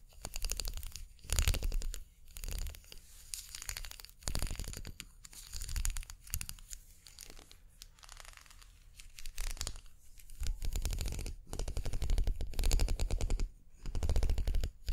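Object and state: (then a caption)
Plastic makeup brush handle. Long painted nails scratch along the spiral ridges of a slim, hollow-looking twisted plastic unicorn-horn makeup brush handle held in both hands. Bursts of rapid, crackly ticking ripple along the ridges, separated by quieter gaps. The scratching has a soft, low, thumpy body under a bright, papery crinkle.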